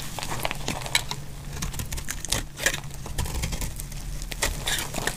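A utility-knife blade shaves curls from the edge of a solid, dry, pink embossed soap bar held in the hand. It makes rapid, dry crackling and crisp scraping clicks with bright, sharp transients over a steady low rumble.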